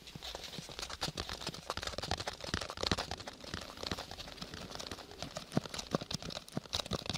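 A small, hollow lilac cardboard gift box with a textured paper covering is held close and tapped with fingertips and nails. The result is a steady stream of quick, dry, uneven taps and scratchy clicks, bright at the top with a soft hollow thump underneath and almost no ring.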